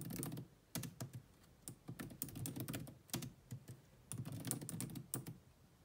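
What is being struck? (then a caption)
Plastic laptop keyboard. Fast typing with long manicured nails and fingertips on the dark plastic chiclet keys of a grey laptop with a hollow body. Quick clusters of short, dry clicks and taps come in bursts separated by brief pauses, each with a low hollow thump under a bright tick and almost no ring.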